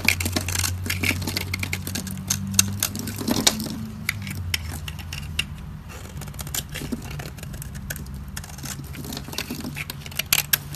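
A solid, dry white soap bar held in the fingers has its edge scraped with a metal utility blade, sending powdery shavings dropping. The scraping comes as a dense run of crisp, dry, bright ticks and scratches over a steady low hum, fading slightly toward the middle before picking up again at the end.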